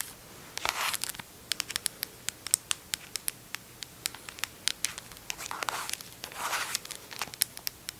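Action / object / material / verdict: tap / squeezable plastic hand cream tube / plastic / none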